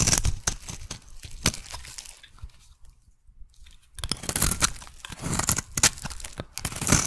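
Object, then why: Bar of soap cut with a metal blade. A solid teal soap bar is shaved with a metal blade into fine curls. Dense bursts of crisp, bright scraping and crunching come in rapid strokes, then a near-silent pause around the middle before the scraping resumes just as busily.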